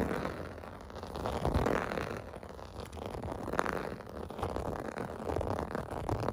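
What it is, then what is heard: Plastic bubble bath mat being scratched. Fingertips scratch the hollow bubble domes of a clear blue plastic bath mat lying on carpet. The sound is a dry, continuous crackling scrape, centered in the mids with little high end, swelling and easing in waves for about six seconds.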